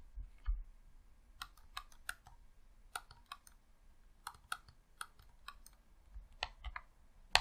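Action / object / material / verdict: tap / plastic game controller / plastic / none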